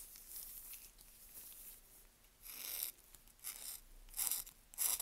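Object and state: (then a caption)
Dry bar of soap scraped with a knife. A knife blade scrapes repeatedly across the face of a solid, dry, pale yellow-green bar of Svoboda "Green Tea" toilet soap held in a gloved hand, shaving off fine curls. The result is a crunchy, rasping, ratchet-like scraping, bright and high, with louder bursts toward the end.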